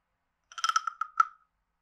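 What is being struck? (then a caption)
Carved wooden frog guiro scraped with a wooden stick. A wooden stick is scraped along the ridged back of a hand-sized, hollow, carved wooden frog guiro. It gives a quick series of clicky, croaking rasps centered around 1.3 kHz with bright overtones, ending in a final stronger rasp that fades out quickly.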